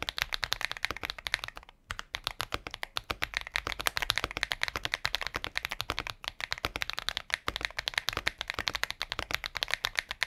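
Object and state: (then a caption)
Mechanical keyboard with plastic case and keycaps. A compact mechanical keyboard with a transparent plastic case and white and pink plastic keycaps is typed on steadily with the fingertips. It produces rapid, bright, clacky key taps with almost no ring, interrupted by a brief pause near the two-second mark.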